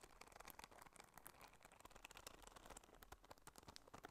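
A small, hollow, squeezable neon-yellow soft rubber spiky sensory ball is held in both hands while long manicured nails scratch and squeeze its spikes. A quiet, steady stream of dry crackling and crinkly scratching clicks fills the clip, with bright ticks over a faint low rumble.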